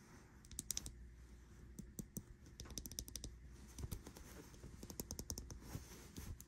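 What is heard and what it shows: Long acrylic nails tap and click on a small smartwatch with a metal case, glass screen and printed silicone band lying on a bedsheet. Quick, dry, bright clicks come in irregular bursts over a soft low rumble, each tap dying away almost instantly.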